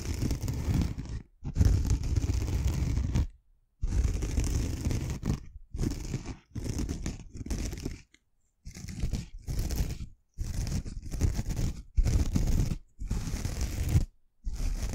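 A pink and green kitchen scouring sponge with an abrasive pad is held in the hand while long nails scratch across the abrasive pad, then the sponge is turned to another side. Repeated bursts of rough, crunchy scratching, heavy in low rumble, are separated by short silences.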